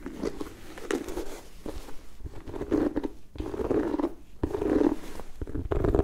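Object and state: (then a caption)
Leather and rubber sneaker. Long nails scratch and tap an empty turquoise sneaker held close, working over its leather upper and rubber sole. The result is a soft, low-mid rasping texture in uneven bursts, broken by quick dull taps.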